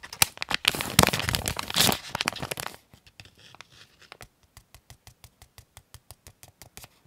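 A small white and blue printed plastic pouch for a USB cable is held in both hands and rubbed and crinkled with the fingertips and thumbnail. Dense, bright crinkling fills the first three seconds, then gives way to quieter, evenly spaced sharp plastic clicks and ticks.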